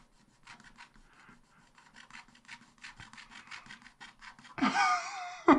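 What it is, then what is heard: Scratch-art paper being scratched. A wooden stylus held in the fingers scratches lines into a black wax-coated scratch-art paper page in a spiral-bound book lying flat on a table, revealing the colours of an ice-cream picture. A quick run of short, dry, rasping strokes grows gradually louder, then a longer, fuller scrape sweeps in near the end before a final sharp scratch.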